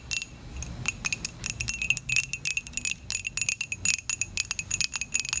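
Long pointed acrylic nails tap rapidly on the side and base of a small, dark, glazed ceramic mug with a logo, which is hollow and held in the hands. The result is a quick, uneven run of sharp, bright clicks with a short ringing tone near 2.5 kHz and very little low end.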